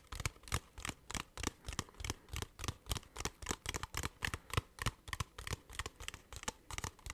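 A small, hollow, clear plastic water bottle with a blue cap, partly filled with water, is tapped and squeezed with fingertips and nails. Short, dry taps and crinkly plastic clicks come at an uneven pace of about three per second. Each has a low, hollow thump under a bright crackle and dies away almost at once.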